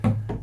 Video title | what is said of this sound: Musical Affairs Grand Crescendo - The complete story... | I can tap on it and you hear the sound is more or less even